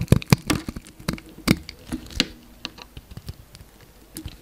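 A utility knife blade carves thin slices off a solid pink bar of soap, scraping through it in thirteen short, dry strokes. Each stroke gives a quick, crisp crack with a soft low thump and a bright crackle. The strokes start louder and fade to lighter scrapes toward the end.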